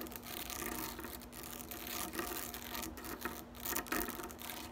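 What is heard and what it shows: Long acrylic nails scratch and rake the many thin upright blades of a medium-size green plastic grass drying rack. The result is a continuous, bright, bristly rustling with quick rasping strokes that swell and fade, over a faint steady low hum.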